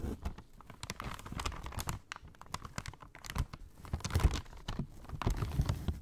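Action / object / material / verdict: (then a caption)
scrape / kraft paper shopping bag / paper / none. Long nails tap and scratch along the top edge of a brown kraft paper shopping bag folded flat on a lap. A steady, quiet stream of short, crisp crinkles, taps and scratchy rustles follows, with a soft low thump under the papery texture. Each sound dies away almost instantly.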